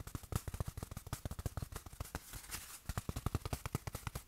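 Fingertips rapidly tap a small padded black fabric watch cushion and press it between the palms. The result is a quick run of soft, dull, low thuds with almost no ring, broken near the middle by a short stretch of muffled fabric rustle before the tapping resumes.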